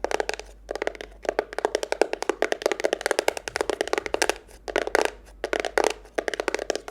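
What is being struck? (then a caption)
Cardboard box. A simple cardboard box is tapped quickly with fingers for ASMR, producing about 42 dry, hollow knocks in fast bursts separated by brief pauses. Each tap is short and midrange, with no ringing afterward.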